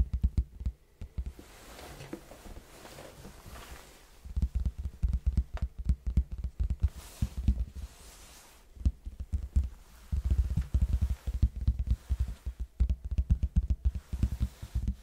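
A large, hollow red cardboard box held close to the microphone is tapped on its face with the fingertips of both hands. The result is bursts of rapid, dull, low thuds that die away almost instantly, separated by quieter stretches of soft rustling.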